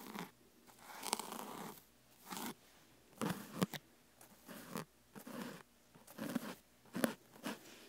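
Fine brushes with wooden handles, one in each hand, brush and scratch over the sides of a large, solid, whole fresh pineapple that has a rough, scaly rind, a leafy crown and a decorated face, standing on a wooden table. The clip is a quiet series of soft, dry, crackly scratching bursts separated by near-silent pauses.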